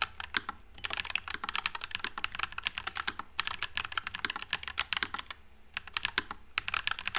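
Fingertips type continuously on a white low-profile NuPhy Air96 mechanical keyboard with plastic keycaps and Wisteria switches. Rapid, bright, crisp clacks run unbroken with almost no ring, with slight pauses and a thin low hum underneath.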